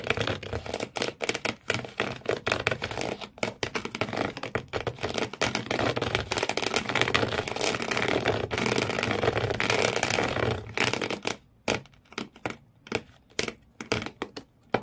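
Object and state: Scratching inside an empty cardboard shoe box.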